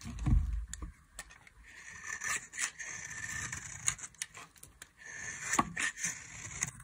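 A solid oval bar of dry yellow soap is held in the hand and shaved with a metal utility knife blade. The blade makes dry, bright scraping and cutting strokes, with crisp crackling as flakes fall. There is a dull low thump at the start.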